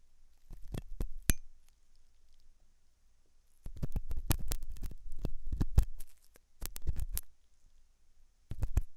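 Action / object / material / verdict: scrape / silicone dummy ear of a binaural microphone / silicone / none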